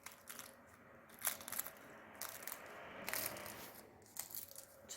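A freshly baked, meat-filled layered pastry pie crust is pressed and crushed straight out of the oven. It gives bursts of dry, bright crackling and crunching against a quiet background. The crust is baked crisp.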